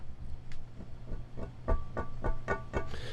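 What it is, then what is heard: Tapped aquarium glass brace. A hand taps on the glass euro brace of a reef aquarium to signal feeding time to the fish. A steady run of short, sharp taps rings briefly with bright glassy tones over a constant low hum, growing slightly louder toward the end.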